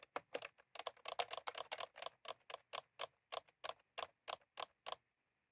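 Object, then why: Plastic computer keyboard with round keycaps. Fingertips of both hands type continuously on a full-size plastic computer keyboard with round cream typewriter-style keycaps, resting on a desk. About 21 short, crisp clacks sound, each dying away almost instantly, with a mid-range tone near 720 Hz and a bright edge. The pace is quick and dense at first, then spreads into a steadier, slower rhythm before stopping.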